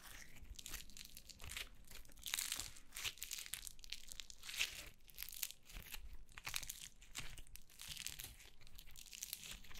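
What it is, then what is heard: Yellow foam slime. Yellow foam slime held in the hands is stretched, folded and squeezed with fingers and long nails. It gives off a steady stream of soft, bright crackles and crinkly, tearing pops in irregular bursts. The sound is quiet and close, with a faint low rumble underneath.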